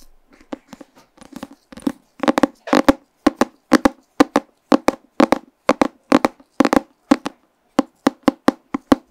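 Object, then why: Paper comic book cover. A pink paper comic book is held closed in front of a microphone while fingernails tap and scratch its cover. It makes a series of short, dry, papery taps with brief scratchy bursts, soft at first and then louder and more regular. Each tap dies away almost at once.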